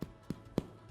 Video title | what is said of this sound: Как приготовить хлеб в домашних условиях. Рецепт от Джейми Оливера | I took the bread out of the tin and I wanted to hear that hollow sound and then you know it's fluffy and cooked on the inside